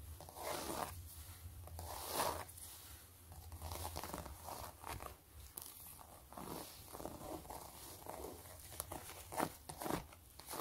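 Long nails scratch and tap across a long gray pebbled leather zip wallet with stitched ridges. Soft, rasping scratches and crinkly rubbing alternate with short, dull taps over a steady low hum, with a few sharper, brighter accents near the end.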